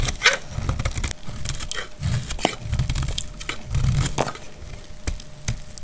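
A solid, translucent green glycerin soap bar held in the hand is scraped and cut with a utility knife blade. Dry, crackling scrapes and short sharp snaps overlap in quick succession over a low, dull rumble, with bright crisp edges on each cut.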